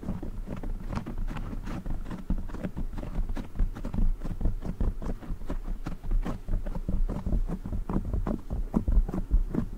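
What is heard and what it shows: Fingertips scratch and rub a black foam windscreen on a silver microphone, and a hand strokes its lower edge. The result is a steady stream of muffled, deep thumps and rustling scrapes, dense and irregular, with almost all of the energy in the low range and nothing bright on top.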